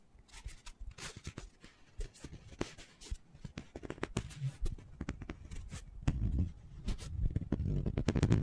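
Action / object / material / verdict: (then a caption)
tap / foam cylinder / foam / none. Fingertips and nails tap and scratch quickly on a hand-sized black foam cylinder, held horizontally and then upright. Dense, dull, muffled taps sit mostly in the low range, with short scratchy streaks in between. The sound grows fuller and louder in the lows over the last couple of seconds.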